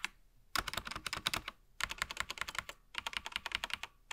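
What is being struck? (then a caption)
Mechanical keyboard with plastic keycaps. A gloved hand types with its fingertips across different areas of a SteelSeries Apex Pro TKL mechanical keyboard with plastic keycaps and an attached wrist rest, lying flat. Three bursts of rapid, bright, clacky keystrokes are separated by short pauses, and one last keystroke lands at the end. Each click is crisp and dies away almost at once.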